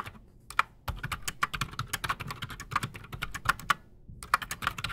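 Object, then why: Mechanical keyboard with plastic keycaps. Both hands type fast with their fingertips on a solid, full-size black Redragon K589 Shrapnel mechanical keyboard with Outemu Silent Sky silent switches and Razer PBT plastic keycaps, resting on a desk. After a quiet start, a dense run of short, dry, muted clacks plays out, each with a bright tick around 1.3 kHz over a soft low thump. There is a brief pause near the end before the typing resumes.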